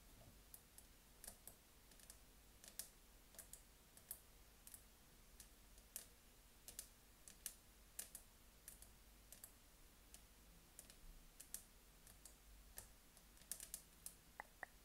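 Long nails tap on the side of a large clear glass jar with a cork lid and a green rope around its neck, filled with dried decor. Quiet, sharp, bright clicks scatter irregularly across the clip, each dying away almost instantly over a low steady hum.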